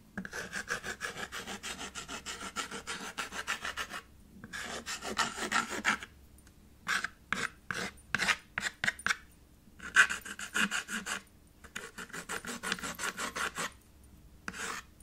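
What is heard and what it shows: A stick of white chalk held in the fingertips scribbles across a small children's chalkboard, a black painted board in a red wooden frame lying on a white table. Quick repeated strokes make a dry, bright rasping scratch, coming in bursts of rapid back-and-forth strokes separated by short pauses.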